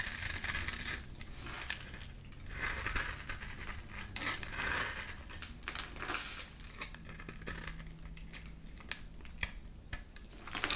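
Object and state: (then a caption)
Bar of soap being shaved. A solid green bar of soap held in one hand has shavings scraped and cut off its surface by a flat metal blade, and the crumbs fall away. The result is a run of dry, crisp, crumbly scraping and crackling, bright and hissy, that swells and fades in strokes over a faint low steady hum.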